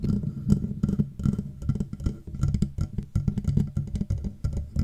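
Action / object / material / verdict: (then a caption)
tap / metal microphone housing / metal / none. Fingertips and long nails tap rapidly on the sides of the hollow, matte black metal body of a Blue Yeti microphone. The taps sound like dull, low, woody knocks that die away almost instantly, with faint bright clicks from the nails.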